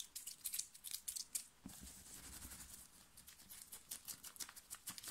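Long nails scratch fast and hard across a plain black cotton knit t-shirt worn on the body, raking the chest and shoulders. A run of quick, dry, bright scratches is heard, with a brief duller rubbing stretch in the middle before the sharp strokes resume.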